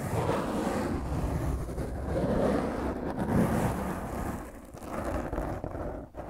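Long fingernails of one hand scratch roughly across a black foam microphone windscreen. The result is a dense, continuous crackling rasp heavy in the low and middle range, swelling and easing in waves with brief dips near the end.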